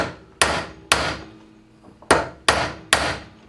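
Five sharp metallic taps land on a steel ball bearing driven with a small bar into the metal blade spindle housing of a Gravely mower, each with a bright attack and a short ring. The taps sound solid, confirming the bearing is fully seated and flush, with everything together tight.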